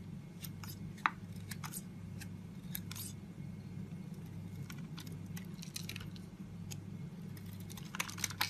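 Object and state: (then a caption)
Bar of soap being carved. A metal box-cutter blade scrapes and cuts curls of soap from the face and edge of a solid, palm-sized pink Safeguard soap bar held in hand. Short, bright, crisp scraping and crunching strokes come in quick bursts over a steady low hum, with a few sharper cuts standing out near the start and the end.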